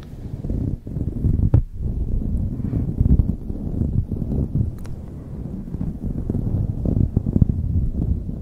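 Long acrylic nails and fingertips scratch and rub a light blue knit beanie pulled over a microphone. The result is a continuous, soft, hollow, muffled rumble of scratching, almost all low in pitch, with brief dips in the texture along the way.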